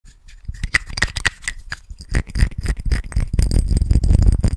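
Fingertips and nails tap and fiddle with a small, clear, square glass perfume bottle and its silver cap, held in both hands close to the microphone. Quick, uneven taps and clicks, with dull low thumps under brief bright ticks, get busier and louder toward the end.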